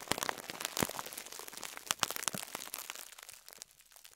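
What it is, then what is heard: Plastic-wrapped foam sponge. A fingertip presses and crumples a compressed foam sponge in clear plastic wrap, crinkling the wrap. Dense, bright crackles and sharp crinkles come in quick irregular bursts with almost no low end. They thin out and grow quieter toward the end.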